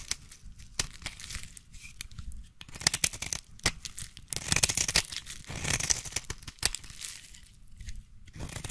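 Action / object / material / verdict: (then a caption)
scrape / bar of soap / soap / none. A solid green bar of soap is held in the hand while its surface is scratched and scored with the tips of scissors. The clip is a dense run of dry, bright, crackly scraping and scoring sounds with short sharp peaks and quick-fading, tearing-like texture.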